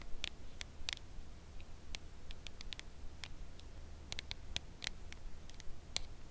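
Long acrylic nails slowly tap the edge of a red Lindt Lindor cardboard box holding a chocolate bar, held at an angle. Short, dry, bright clicks come at an uneven, unhurried pace with almost no ring. A steady low hum runs underneath.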